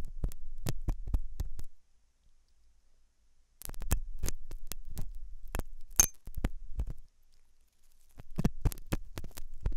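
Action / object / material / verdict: scrape / silicone dummy ear scraped with a thin metal hook / silicone / none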